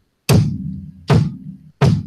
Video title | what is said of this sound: SasHyp Townhall #2 | There's kind of almost a reverberating sound to it.